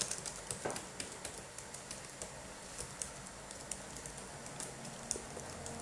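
Gloved fingertips type and tap on the red-backlit plastic keys of a black Dell laptop keyboard, using both hands. The result is a quiet, irregular patter of short, bright plastic clicks that die away quickly over a faint steady background noise.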